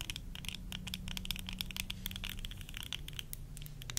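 Long nails tap rapidly on the rims and lenses of worn plastic tortoiseshell eyeglasses, rattling the frame. The taps make a dense run of short, bright, crisp clicks over a steady low hum underneath.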